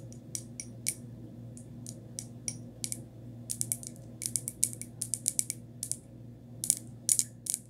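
Long nail tips tap and scratch the outer surface of a small, hollow, empty white glazed ceramic pot with a textured finish, held upside down. Quick, bright clicks with almost no ring come in irregular bursts over a faint, steady low hum.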